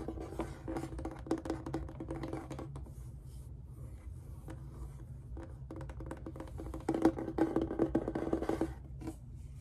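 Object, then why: Faux-leather hard instrument case. Fingertips and short nails on both hands tap and scratch the faux-leather face of a large, hollow, reddish-brown hard instrument case with an embroidered rose patch, held upright. Quick, irregular dry taps and scratchy rubs sound with a low, hollow, boxy resonance and almost no ring. The tapping grows louder and denser near the end.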